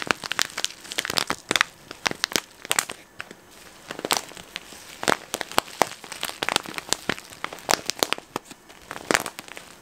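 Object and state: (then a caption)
Plastic snack packet being crinkled. A medium-sized, flexible, hollow yellow printed plastic snack packet that appears to hold contents is held near the microphone and crinkled and squeezed with the fingers. It produces dense, bright, sharp crackles and crinkles with almost no low end, each snapping off almost instantly, in irregular bursts over quieter rustling.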